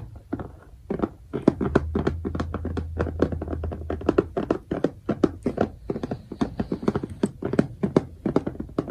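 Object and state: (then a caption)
Plastic bead organizer box. Fingertips and nails tap rapidly on the lid of a transparent plastic compartment box, a clear bead organizer filled with colored diamond-painting drills in every compartment. The result is a dense run of short, dry clicks and thuds with a bright edge, many of them separate, over a faint low hum.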